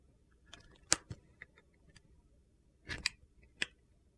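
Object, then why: Soap bar shaved with a knife blade. A utility knife blade shaves the black glitter coating off a small, solid, pale blue Coast soap bar held in the hand. The scrapes come as short, crisp, bright clicks and crunches with almost no low end, spaced irregularly over a quiet background, with a brief gritty cluster near the end.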